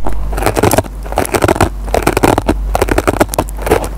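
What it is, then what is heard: Dry kitchen sponge with nylon scouring pad being scratched. A metal pen tip scratches and picks at the fibers of a dry kitchen sponge with a green nylon scouring pad. The result is a dense run of crackly, scraping bursts with a steady low hum underneath.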